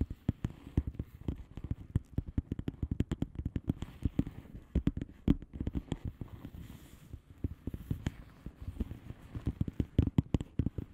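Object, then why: Padded envelope with plastic bubble wrap. Long polished nails on both hands tap and scratch across a flat padded envelope with a plastic bubble wrap surface. The result is a dense, continuous stream of quick, dull, low clicks with very short decay. Louder taps stand out now and then throughout.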